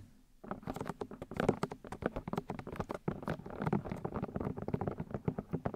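Long nails tap quickly on the white plastic ear discs of a 3Dio binaural microphone. After a brief quiet start, a rapid, uneven series of short, dry taps follows, each with a soft low-mid thump and almost no ring.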